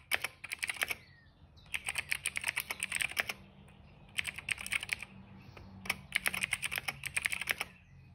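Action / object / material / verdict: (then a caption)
tap / plastic mechanical keyboard keys / plastic / none. Fingertips press and tap the keys of a cream plastic mechanical keyboard, including the shift and space keys. Four bursts of quick typing come through as bright, crisp clicks centered around 2.2 kHz with almost no low end. Each key click dies away instantly, with short pauses between the bursts.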